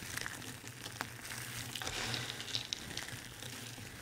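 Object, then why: Pile of soap shavings. Bare fingertips press, crush and scoop a large heap of thin, dry white, blue and pink soap curls and flakes in a white tray. The result is a steady, bright, dry crinkling and crackling, dotted with small sharp ticks as the flakes break.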